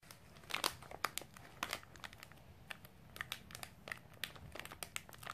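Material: Plastic film.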